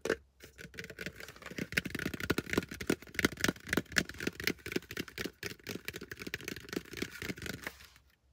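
A plastic hard hat is tapped fast and aggressively with fingers, producing a dense, irregular stream of sharp, hollow plastic clicks and knocks. Each tap is short and dry with almost no ring, bright in tone, and the tapping continues steadily before stopping just before the end.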